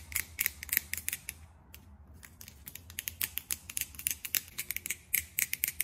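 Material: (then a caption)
Plastic. A small, flat, square blush compact with a clear plastic lid, silver-tone trim and peach powder inside is held in one hand and tapped quickly with long pink acrylic nails. The taps come as rapid, uneven bright clicks with almost no ring, with a short lull near the two-second mark before the tapping picks up again.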